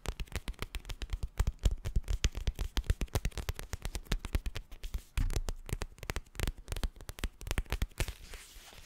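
A flat teal plastic gel ice pack filled with gel beads is held up and scratched with fingernails across its bumpy surface. A rapid, dense run of short, dry crackling clicks carries a dull low thump, with little brightness. The scratching thins out and fades to a soft hiss in the last second.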